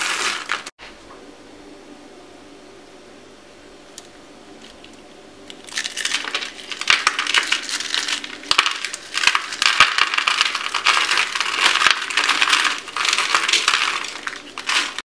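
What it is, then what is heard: Dry soap curls, brittle. Cream-colored dry soap rolled into small, thick, brittle ring curls is held in the palms of hands with red-painted nails and crushed between them into flakes that are then let fall. After about five quiet seconds, a dense run of dry, bright, crackly crunching starts and continues steadily to the end, broken by sharp snaps.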